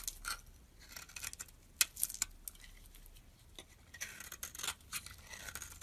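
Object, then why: Bar of soap cut with a metal blade. A utility knife blade shaves the colored layer off a solid purple bar of soap with a white core held in the hand, scraping and carving with the metal. The result is irregular, crisp, bright scraping strokes with short dry attacks and almost no ring, over a quiet, faintly hissing background.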